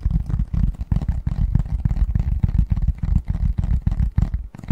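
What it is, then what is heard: Cardboard box lid. Fingertips and nails tap and scratch the front of a medium-sized, hollow, printed cardboard Christmas box lid held upright in both hands. The result is a quick, uneven series of dull, deep thumps with a hollow boom around 90 Hz. Each tap dies away almost instantly, with soft scratchy texture between them and almost no high content.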